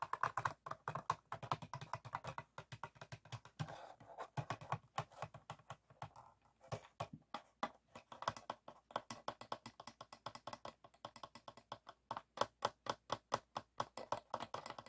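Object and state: Empty plastic PET water bottle.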